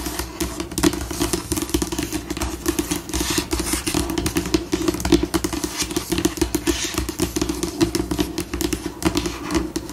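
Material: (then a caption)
Laminate. Long pink acrylic nail tips tap, scratch and scurry with both hands across a flat, solid white glossy laminate tabletop, shifting between slow and fast. Dense, rapid clicks and scratchy bright rasps run continuously over a steady low hum centered near 336 Hz.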